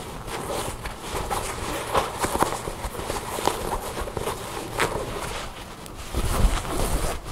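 Long blue nails scratch and rub along the seams and sewn-in care labels of a soft tan cloth garment held in the hands. The result is a steady, dry scratching texture broken by brief sharper scrapes, with a duller rubbing swell near the end.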